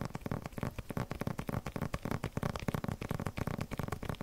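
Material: Plastic film.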